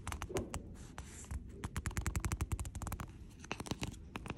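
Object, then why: Hardcover book in plastic jacket. Quick dry nail scratches and ticks along a plastic-jacketed hardcover book spine, crisp and without ring.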